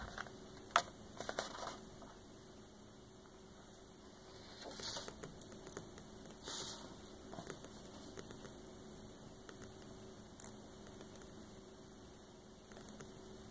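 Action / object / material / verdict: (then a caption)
tap / glossy paper page of a large hardcover book / coated paper / none. Fingertips and long painted nails tap and scratch across a glossy photo page of a large open hardcover Frank Lloyd Wright coffee table book lying flat, with rings on the fingers possibly clinking. The sound is quiet: soft, scattered papery taps and brief brushing scratches, with a few sharper clicks, over a faint steady low hum.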